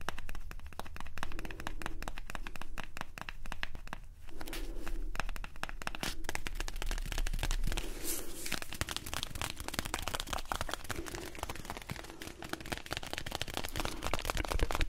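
A small, hollow, blue-and-white printed cardboard product box is held in both hands and scratched and tapped with fingertips and short nails. The result is a dense, continuous stream of quick dry scratches, crinkly ticks and soft hollow taps over a steady low hum, with brief pauses in between. At the end the box is held close to the microphone.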